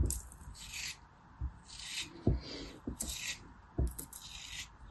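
A small black craft blade cuts and scrapes into a small, solid, moulded cube of beige kinetic sand held between fingers with long blue-painted nails, slicing pieces off. Repeated soft, gritty rasps with a bright hiss alternate with dull low thuds as the blade bites in and pieces fall away.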